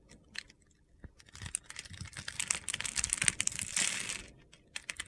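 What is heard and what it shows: A solid yellow embossed soap bar, held in a palm with red-nailed fingers, has its face scored into a grid while a metal box-cutter blade scrapes off small crunchy cubes. Sharp, dry crunching and gritty scraping come in quick bursts that build into dense crackling. They then taper off to a few last scrapes.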